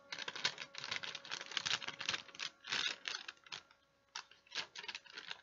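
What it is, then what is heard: Wax paper sheet being crinkled. A thin folded sheet of wax paper is held in both hands while the fingers crinkle and fold it. Dense, bright crackling comes in quick bursts, briefly falls quiet, then resumes in sharp crinkles.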